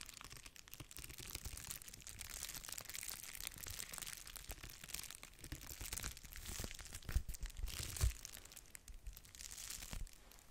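A flat, empty-looking pink/red padded mailer envelope made of bubble-wrap plastic is scratched and tapped by long nails that crinkle its bubbly surface. A steady, dense bright crackle of scraping and crinkling runs throughout, with soft low thumps and two sharper taps near the end.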